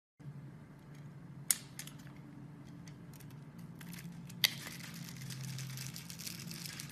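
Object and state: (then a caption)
Bar of soap being carved. A metal utility knife blade scrapes and cuts along a hand-sized solid green bar of soap scored into a grid of cubes, held in a hand with long red nails, shaving off small cubes. Soft, bright scraping and crackling run throughout over a steady low hum, with two sharp, loud snaps standing out as pieces break away, and the scraping grows denser toward the end.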